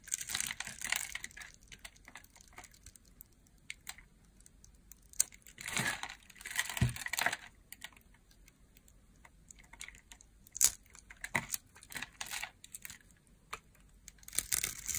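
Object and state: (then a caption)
Dry bar soap being shaved. A solid green rectangular bar of dry soap, held in the hand, is shaved with a utility knife blade while other green bars sit nearby. Bursts of dry, bright scraping and crisp crunching come in uneven clusters, with quiet gaps between the cuts.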